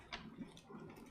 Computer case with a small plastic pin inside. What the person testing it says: I hear that little piece of plastic